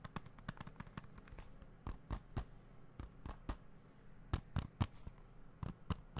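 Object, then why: Plastic game case. A small, hollow blue plastic video game or Blu-ray case is held in the hands and tapped and scratched with the fingertips. Quick, dry taps with a low body and bright clicky edges come in an irregular series, some harder than others, with soft scratching in between. Each tap dies away almost instantly.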